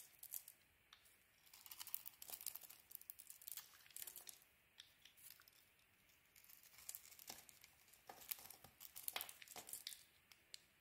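A utility knife shaves cream-colored chunks off a solid purple-striped bar of soap held in the hand, with the flakes piling up on the table. Quiet, bright, crisp scraping and crunching cuts come in dense bursts separated by short pauses, with almost no low end and no ring after each cut.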